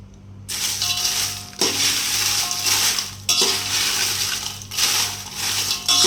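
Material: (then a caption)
Dried chilli. Well-dried Byadgi dried red chillies are dropped into a pan in several bursts, each giving a bright, dry rattling crackle that stays mostly in the high range and fades quickly. The rattle comes from the chillies being nicely dried.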